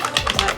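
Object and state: Bottle of liquid foundation shaken.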